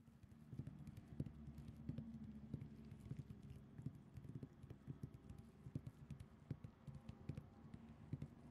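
Long acrylic nails scratch a printed cotton terry cloth towel lying flat, using both hands, with a microphone beside the towel but not touched. The sound is a soft, low, dull rustling scratch with many quick, short ticks and taps that die away at once, over a steady muffled bed.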